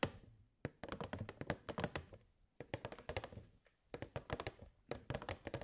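Long nails tap the side and front of a hollow clear plastic box with purple fairy lights inside. The short, hollow, thunky taps die away almost instantly and come in three quick flurries separated by brief pauses, with a low-mid body and a light bright click on each hit.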